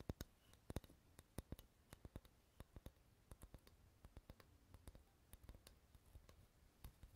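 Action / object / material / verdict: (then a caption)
tap / wooden board / wood / none. Fingernails tap and scratch the face of a light, solid wooden board held in both hands. Quiet, sharp clicks come in an irregular patter with a soft scratching hiss between them, each tap dying away instantly with a dull, low body and no ring.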